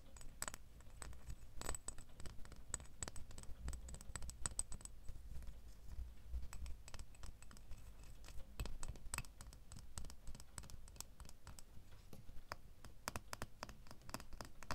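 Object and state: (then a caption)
Metal door key. A small, solid metal door key, held in the fingers and partly hidden at the start, is scratched and tapped with fingernails. This produces a steady stream of quick, dry clicks and scratches with bright, high metallic ticks. The clicks sit over a soft, low rumble.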